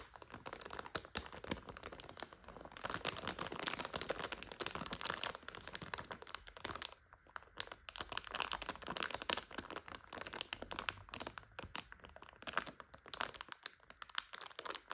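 A full 400 g clear plastic bag of dry egg noodles is handled with long nails that tap and scratch the label and press the bag. The result is dense, bright crinkling with rapid, crisp crackles, briefly easing around the middle and near the end.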